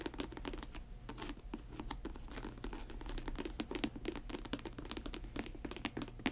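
Long white nails scratch and tap the grey patent leather and mesh upper of a sneaker held upright on its heel. Dense, crinkly scratching is broken by many quick, bright clicks that die away almost at once, over a low steady hum.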